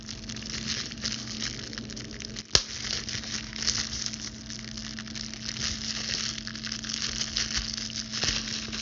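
A clear plastic bubble wrap sheet is held in front of the body while its bubbles are pinched and popped with long blue stiletto nails and the sheet is crinkled by the hands. Continuous bright, crackly crinkling runs throughout, broken by sharp, quick pops, the loudest about two and a half seconds in. A faint steady low hum sits underneath.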